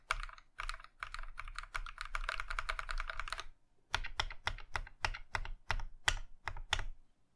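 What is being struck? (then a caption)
Mechanical keyboard with plastic keycaps. A compact Iron 165 mechanical keyboard in a plum (maroon) metal case with cream plastic keycaps has its individual keys pressed by the fingertips of one hand. A quick, steady run of crisp clacks with a low thump underneath plays for about three and a half seconds, then a brief silence. About ten slower, separate keystrokes follow, each sharp and bright with a very short decay.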